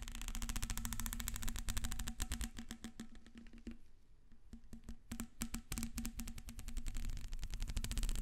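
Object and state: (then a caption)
Plastic corrugated hose. Long red nails scratch along the ridges of a black ribbed plastic corrugated hose, a hollow flexible tube held up near its end. The result is a fast, uneven run of dry clicking rasps with bright crackle and a low steady hum underneath. The rasping eases briefly midway, then picks back up to the end.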